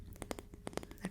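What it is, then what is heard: Wooden ruler. A small wooden ruler is tapped eight times in quick succession. Each tap is a short, dry, dull knock that dies away almost instantly, with a low woody body and little bright ring.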